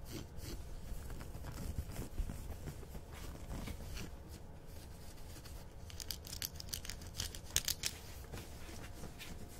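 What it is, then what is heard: Corduroy fabric being scratched. Painted fingernails and fingertips scratch and rub a green ribbed corduroy dress worn on the body, a soft textile. Quiet, steady scratchy rubbing sits over a low rumble, with bright, crisp scratch strokes growing sharper in the second half.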